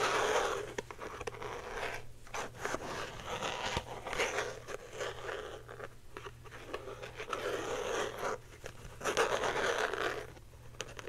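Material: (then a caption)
Plastic. Long painted nails rapidly scratch and tap a small, hand-sized clear plastic box or case printed with a colorful lollipop pattern, which is held up and seems hollow. Dense, crackling scratches come in bursts that fill the mids up into the bright highs, broken by short quiet gaps, over a faint steady low hum.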